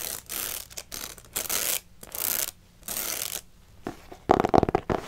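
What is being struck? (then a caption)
Paper notebook with metal wire spiral binding. A pink spiral-bound paper notebook with a stiff paper cover and a metal wire spiral is held up close while long nails scratch along the spiral binding. The result is bursts of bright, hissy ratcheting and rasping. It ends in a denser run of sharp clicking strokes.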